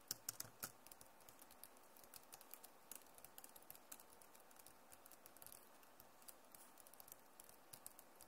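Both hands with long nails type and tap across the keys of a backlit plastic laptop keyboard. A quiet, steady patter of short, bright clicks follows, with a few louder taps near the start. Each click stops almost at once over a soft, even background hiss.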